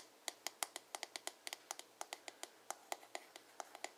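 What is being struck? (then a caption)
Plastic paddle hairbrush back. Fingertips and nails tap and scratch quickly on the glossy blue plastic back of a hollow paddle hairbrush. About 23 quick, dry, bright clicks land in an uneven rhythm, each dying away almost instantly. The taps are quiet, with a faint low hum between them.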